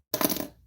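A single knock on a cold metal diecast toy race car, number 62, that had sat near a drafty door after being unboxed on a morning of about 25 degrees. It gives one short, bright metallic clink that dies away within about half a second.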